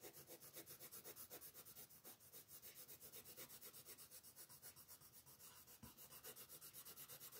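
A light blue wooden colored pencil rubs over a large area of the wing and body on a paper coloring page, a flat sheet lying on a wooden table. The quiet, bright, scratchy rasp pulses in fast, steady strokes, about four per second, throughout the clip.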